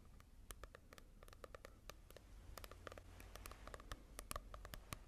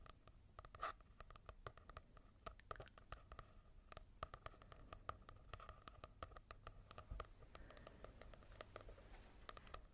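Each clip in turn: First: glossy-covered paperback book. Second: matte-covered paperback book.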